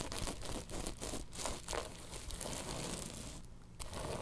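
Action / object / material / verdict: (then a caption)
scrape / woven tapestry fabric pillow / woven fabric / none. Long nails scratch across a woven tapestry bolster pillow, producing a dense, dry scratching and crinkling rasp in quick uneven strokes. The texture stays continuous, dipping briefly quieter near the end before resuming.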